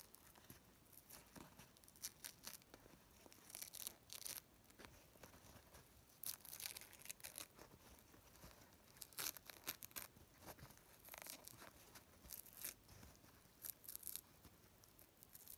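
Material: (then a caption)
Paper. A thin white paper napkin is held between both hands above a wooden table and rubbed, crumpled and torn with the fingertips. The result is quiet, bright rustling and crinkling with short, soft tearing bursts that come and go throughout.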